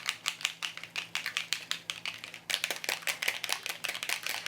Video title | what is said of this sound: Inktoberfest 2018: Day 7 - Alcohol Inks 101 | I tend to give it a tap until I can hear that ball moving and then you want to shake it